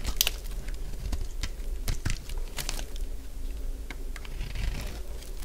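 A solid purple bar of dry soap, held in the hand, is scraped with a utility blade. Dry, crackling scrapes and crisp crunches repeat over a low, steady rumble, each sharp burst bright and quickly gone.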